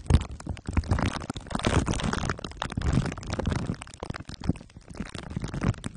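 Two glue sticks are dabbed and rubbed over the top and sides of a microphone head wrapped in crumpled aluminium foil under clear plastic wrap. The result is a dense, sticky crackle of rapid clicks and crinkles over a heavy low rumble, swelling and fading in uneven waves.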